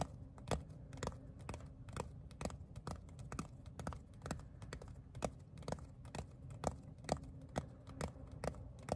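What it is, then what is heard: Leather phone case. Fingertips and nails tap and scratch the flat surface of a palm-sized black pebbled leather phone case. Short, dry taps with a bright click on top come at an uneven pace of about two per second. Between them is a soft, low, textured scratching.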